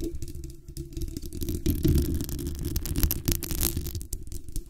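Long acrylic nails scratch and tap the hollow metal mesh grille and the base of a black condenser microphone. The result is a dense, low, rumbling rustle of quick, uneven scrapes and taps, with brighter scratchy bursts in the middle of the clip.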